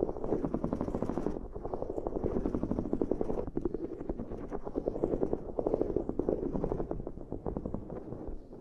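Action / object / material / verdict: scrape / ridged silicone pad / silicone / none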